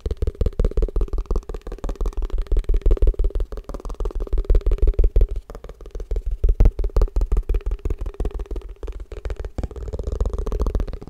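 A plastic tupperware food container is tapped fast and aggressively in rapid, uneven bursts. Each tap is a short, dull, hollow thud with a heavy low end and almost no ring, running steadily for the whole clip.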